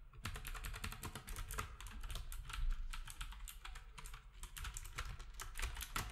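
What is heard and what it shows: Fingertips of both hands type steadily on a black, retro typewriter-style keyboard with round plastic keycaps. The result is a rapid, continuous stream of short, bright plastic clacks over a low, dull thump from each keystroke.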